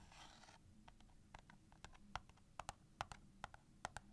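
Long painted nails scratch and tap the sides and edges of a small, closed cardboard matchbox full of wooden matches, including near the striking strip. A brief, hissy scrape opens the clip, followed by quiet, irregular, dry taps that stop instantly with no ring, over a low steady background hum.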